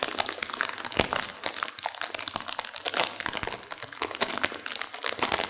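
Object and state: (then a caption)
Sealed instant noodle packet with dry noodles crunched inside. A sealed plastic instant-noodle packet with dry noodles inside is squeezed and crinkled by hands and long nails to crunch the noodles. A dense, continuous stream of bright plastic crinkling and brittle crunching snaps follows, with almost no low end and each crackle dying away instantly.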